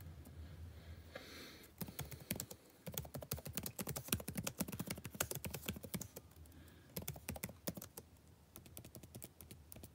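Fingertips type continuously on a backlit laptop keyboard with plastic keys, giving rapid, irregular streams of short, dry taps. Each tap has a soft low thunk and a brief bright click that dies away almost instantly. The typing starts after a quiet, hissy opening and eases off briefly near the middle before resuming.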